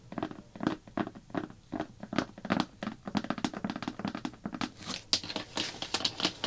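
Fingertips with long black-painted nails tap and scratch the top of a large round blue plastic slime bucket lid with a printed label. Quick, dry taps and thunks come in rapid clusters, and brighter, hissy crinkling and scratching builds toward the end.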